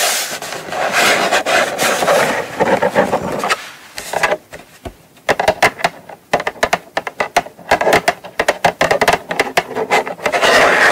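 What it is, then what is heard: Cardboard box. Long nails scratch and tap the lid of a small brown kraft cardboard gift box lying flat. Dense, dry rasping scratches open and close the clip, with a stretch of quick, sharp, papery taps in the middle.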